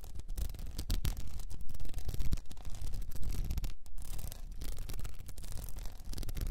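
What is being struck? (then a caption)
Cylinder wrapped in plastic rhinestone mesh. Long nails scratch across a cylinder wrapped in blue plastic rhinestone mesh, tilted forward, making a steady stream of dense, rapid scratching and rubbing with a gritty, crackling texture. The sound keeps a heavy low rumble beneath brief bright clicks, swelling and easing in volume without pause.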